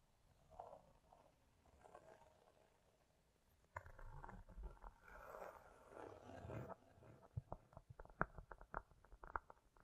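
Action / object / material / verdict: tap / cork coaster / cork / none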